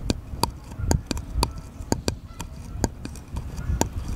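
Fingernails tap and scratch a small, solid, unfinished wooden bottle-shaped cutout held sideways. A quick series of short, dry, bright clicks rises over a low, muffled rumble, with softer scratching between the taps. Each tap dies away almost at once.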